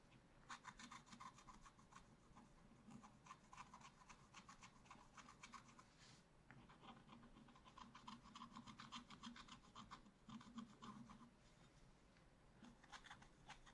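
A wooden stylus scratches the black coating of a scratch-art paper page around the lower monkey, in a spiral scratch-art book lying flat. Quiet, rapid, uneven scratching strokes give a dry, bright rasp over a faint low hum, with short pauses between bursts of strokes.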